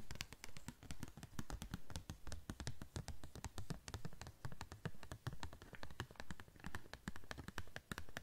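Long nails tap rapidly and unevenly on a thin, yellow-green translucent plastic sheet. The steady stream of quick, dry clicks has bright tips over a soft, dull low thump, and each tap dies away almost at once.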